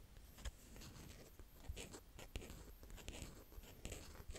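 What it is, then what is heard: Kinetic sand being raked. A small green plastic rake, held in fingers with painted nails, digs and scratches through a mound of brown kinetic sand. Quiet, close, grainy scraping and crumbling runs throughout, punctuated by soft, low thumps as the rake pushes into the sand. Brief bright ticks are heard as the tines drag across it.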